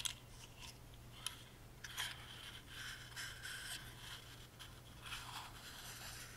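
Fingertips and short nails rub and scratch the cut-out patterned sides of a tiny hollow carved wooden music box with a metal crank. The result is quiet, dry, bright scratching and scraping, punctuated by a few sharp ticks. A steady low hum runs underneath throughout.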